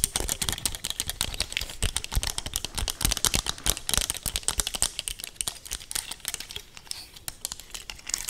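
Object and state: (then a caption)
Dry pine cone. Long painted nails quickly scratch and tap across the natural woody scales of a large, solid, dry brown pine cone held up close to the mic. The result is a rapid, continuous stream of crisp, bright clicks and scratchy crackles with no ring between them.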